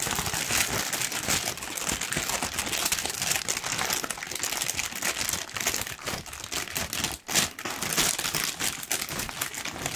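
A large, thin, loosely wrinkled pink tissue paper sheet is held in both hands and crumpled with the fingertips. The result is continuous, bright crinkling and crackling. A brief near-silent gap falls just past seven seconds, and a sharp rustle follows right after it.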